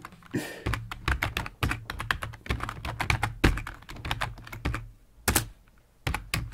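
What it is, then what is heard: Plastic computer keyboard being typed on. A full-size black plastic computer keyboard with a hollow body, resting on a wooden desk, is typed on rapidly with the fingertips of both hands. Quick clicky key taps run together with a low hollow thunk under each stroke, then pause briefly before a few final taps.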